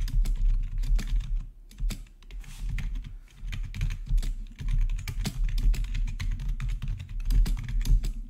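Fingertips rapidly type on a black plastic RGB backlit gaming keyboard with a hollow housing. The result is a dense stream of short, clicky keystrokes with a deep, thocky low-end body and bright, crisp clicks on top, pausing briefly now and then.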